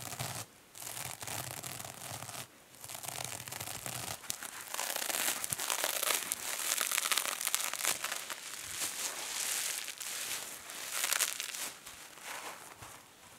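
Long fingernails scratch the silver metallic scouring side of a two-sided kitchen sponge with a green foam layer, then both hands squeeze and press the sponge. The result is a dense, bright, scratchy crinkling and crackling with rapid irregular bursts, briefly dropping off in short gaps before surging again.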